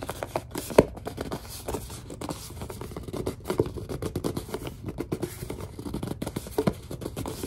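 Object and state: Plastic lotion bottle.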